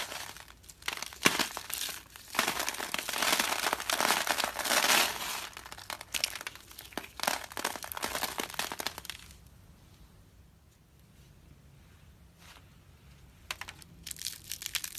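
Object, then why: Carved soap curls. Fingertips pinch and crush thin, brittle curls of dry carved soap rose petals on paper, scattering loose flakes around. Dense, bright crinkling crunches come in bursts for about nine seconds, then quiet down to faint rustling before a few last crunches near the end. The clip ends with a soap rose held in the hand.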